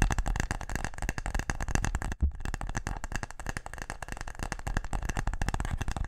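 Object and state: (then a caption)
Wooden case. A small, closed, brown wooden box-shaped case is held in both hands and tapped fast with the fingertips and nails. A rapid, continuous stream of dry, clicky taps is heard, with a brief pause just after two seconds before the tapping resumes.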